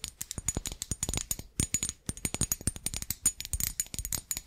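A small, green-glazed, ribbed ceramic Christmas tree figurine, likely hollow, is held in both hands and tapped quickly with long acrylic nails on its glossy surface. About thirty fast, crisp clicks come in an uneven run, with a brief pause near the middle. Each tap has a bright, high ceramic ping that dies away almost at once.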